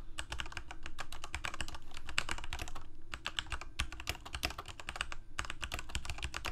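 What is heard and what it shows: Both hands type rapidly on a full-size Corsair mechanical keyboard with plastic keycaps on mechanical switches, a hollow plastic case and blue backlighting. Fast, dense bursts of sharp, bright key clicks and clacks overlap over a steady low hum, with short pauses between runs. Each keystroke dies away almost instantly.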